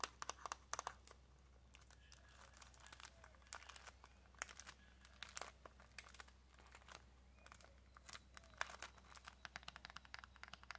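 A small flat pack of pink press-on nails in a clear plastic tray with cardboard backing, wrapped in cellophane, is scratched and tapped with long nails. The cellophane gives off dense, bright crinkles and sharp ticks in many quick bursts over a steady low hum.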